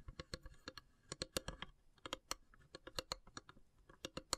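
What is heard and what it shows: Long grey fingernails tap and scratch the carved, perforated lid of a long, narrow, hollow wooden incense box. About twenty quick, dry, clicky taps come in uneven bursts, each bright and high with almost no ring. Faint scratching fills the gaps at a quiet level.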